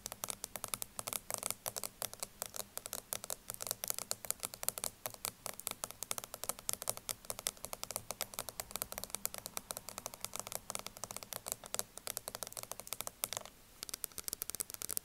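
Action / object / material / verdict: tap / plastic cosmetic powder jar lid / plastic / none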